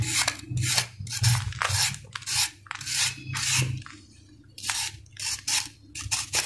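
A flat-cut solid sand-cement ball, held in one hand, is scraped repeatedly with a steel knife blade. Each pass makes a bright, gritty rasp, and the strokes come in uneven bursts with a short quieter gap midway. A low steady hum runs underneath throughout.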